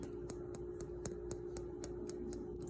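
An untreated egg with its shell still on is tapped repeatedly, giving a steady series of short, sharp clicks over a constant low hum. The shell is hard and the tapping is clearly audible, unlike an egg that has been soaked in vinegar.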